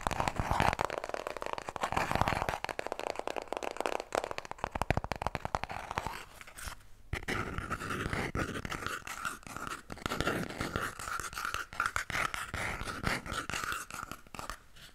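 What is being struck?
Paper toilet roll.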